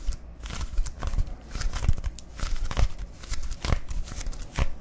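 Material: Plastic.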